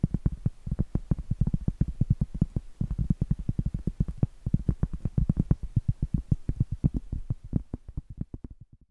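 Long acrylic nails scratch and tap the face of a round, flat, solid cork trivet held upright. The result is a rapid, steady run of soft, dull, low thuds with light scratchy texture between them, easing off and fading at the end.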